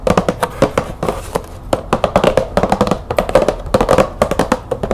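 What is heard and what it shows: Long nails tap quickly on the top of a green cardboard bulb box with a clear plastic window. The result is a dense run of short, dry clicks with a hollow mid-range tone and almost no ring, with brief pauses between bursts.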